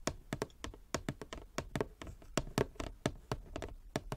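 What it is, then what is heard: Wooden chess board. Long fingernails tap across a large inlaid wooden chess board, possibly with some scratching. There are nineteen quick, dry, hollow knocks in an uneven rhythm, each dying away almost at once, with soft low body and little brightness.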